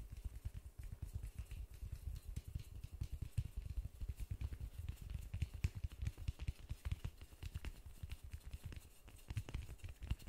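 Fingertips in white gloves tap and pat the surface of a large white polystyrene foam ball held in both hands. The result is a steady run of quick, dull, low thumps with almost no ring, plus faint light clicks on top.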